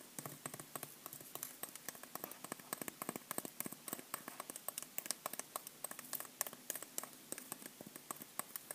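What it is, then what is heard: Bath bomb. Long nails rapidly tap and scratch the surface of a solid white pressed-powder bath bomb about the size of a tennis ball, held in the hand. The result is a quiet, irregular stream of short, dry, crisp clicks with scratchy hiss between them and no ringing.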